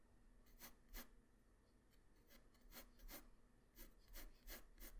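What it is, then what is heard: Pencil strokes on paper. A graphite pencil tip draws strokes across a flat white paper sheet, making soft scratching and rubbing sounds. About nine brief, bright strokes come at an uneven pace over a quiet low hum.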